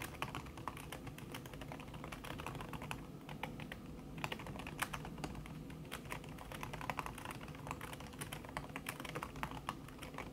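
Fast typing by long-nailed fingertips on a backlit laptop keyboard in a silver aluminum body, its keys covered by a thin red silicone skin. A dense, steady stream of soft, muffled key taps with short bright clicks runs throughout over a low hum, with no speech.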